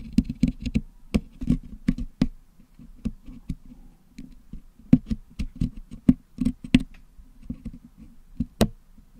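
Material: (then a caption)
Metal, putty. A wooden toothpick picks at the hollow metal mesh dome of a Blue Yeti microphone packed with blue and yellow putty. It makes an irregular run of short, dry clicks and scrapes with a dull, muffled low body. Each tick stops almost instantly, with brief bright snaps on the sharper picks.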